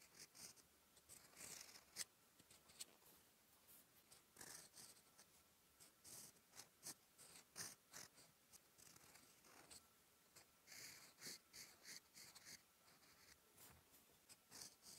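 A steel fountain pen nib scratches across a thin sheet of lined writing paper lying flat, writing Korean letters in dark teal ink. The sound is a quiet series of short, dry, bright scratches and strokes with brief pauses between them.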